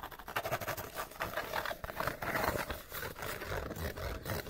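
A small, hollow, empty cardboard light bulb box has its sides rapidly scratched and tapped with fingernails. The result is a dense, continuous run of dry, papery scratches and quick hollow taps with a boxy resonance near 600 Hz, staying busy and fairly even in level throughout.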